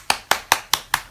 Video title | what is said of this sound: Facebook Live #Stashtags Memory Box Kit Demo | a little ball bearing or something that helps mix it up